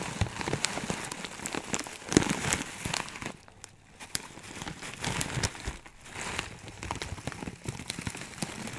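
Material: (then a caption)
Plastic. Fingertips pinch and rub a clear plastic bag full of small dried herb granules through the plastic, making a dense, rain-like patter of crinkles and soft crackles. The rustling is broad and bright, with brief quieter lulls around the four- and six-second marks before the rubbing picks up again.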